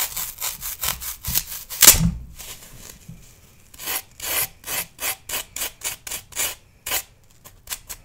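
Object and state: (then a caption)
Floral foam block scraped with a knife. A metal knife blade is drawn repeatedly across a solid pale green floral foam block held in hand, shaving the foam with quick, bright, rasping scrapes. One louder scrape near the start carries a dull low thump. After a short quiet pause, the rhythmic scratching strokes resume.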